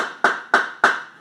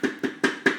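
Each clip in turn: First: fully dried maca root, solid. Second: spongy, under-dried maca root.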